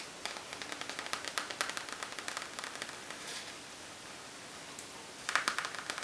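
Fingernails tap and scratch on a Hema makeup bag made of a plasticky material with a colorful sprinkle design. Sharp, dry clicks and scrapes come in quick bursts, with a quieter scratching stretch in the middle before a final cluster of louder taps.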